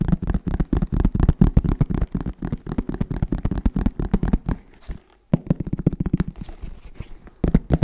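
A hollow black fabric-covered hard-shell zip case is tapped rapidly with the fingertips of both hands. The taps are dull, low, and short, with little ring, landing in quick, drumming bursts. A brief pause comes near the five-second mark before the tapping resumes.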